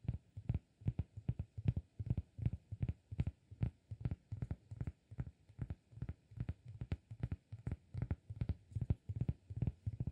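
Fingertips tap the face and edge of a round, flat, solid cork disk held edge-on. About 47 soft, dull, low thuds come in quick, uneven clusters at roughly 154 per minute. Each tap dies almost instantly with no ring.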